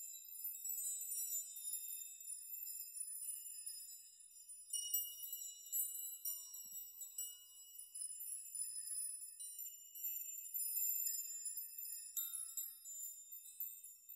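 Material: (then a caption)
Metal. A metal nail chime of many thin suspended metal nails is raked and rocked by spread fingertips, then shaken, so the nails collide. The result is a quiet, continuous shimmer of bright, high tinkling clinks in irregular clusters, each ringing only briefly, with almost nothing in the low range.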